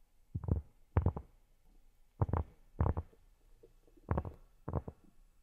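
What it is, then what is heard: Round cork board. Fingertips fitted with silicone pads tap and scratch on a large, flat, solid round cork board. The result is short bursts of soft, dull, low thuds with quick rustling scratches that die away almost at once. Quiet pauses separate the bursts.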